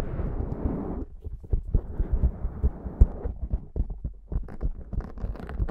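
Long nails on both hands scratch and rub the sides and top of a black foam windscreen on a Zoom microphone. The first second is a steady, muffled rubbing rumble, then a run of deep, soft thuds and scratchy brushes that stay low and dull with no bright edge.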